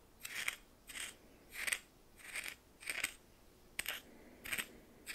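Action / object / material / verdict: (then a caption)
scrape / coarse salt in a small glass bowl stirred with a plastic spoon / salt / none. A red plastic spoon held in the fingers stirs and scrapes a pile of white coarse salt in what looks like a small glass bowl. Nine short, bright, scratchy crystal scrapes come at an uneven pace, with quiet gaps between them and almost no low end.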